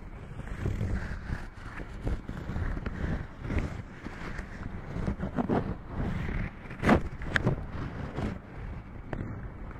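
Hands in green rubber dish gloves rub and squeeze the sides and top of a black metal Blue Yeti desk microphone, a large, hollow-bodied mic on a stand, with fingers and palms. The result is a steady, muffled low rumble of friction broken by louder squeaky rubs and short bright squeaks, the strongest near the seven-second mark.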